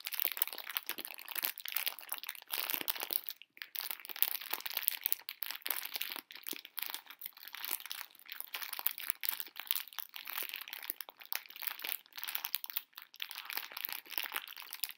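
A full pink plastic-film bag of hard conversation-heart candies is squeezed and crinkled in both hands with long nails. The result is a dense, continuous stream of sharp, bright crinkles and crackles with almost no low end. Brief pauses break the flow now and then.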